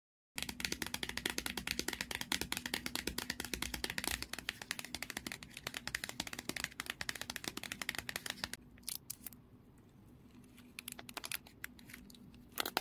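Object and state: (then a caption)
Paper ice cream cup with plastic lid, full. A small, round, sealed and full Meiji green tea ice cream cup, made of paper with a plastic lid, is held in one hand while fingertips and nails tap and scratch the lid and printed side. Rapid, crisp, bright taps come in a dense stream for about eight seconds. They then thin out into sparser clicks over a softer scratching hiss, with a final quick burst at the end.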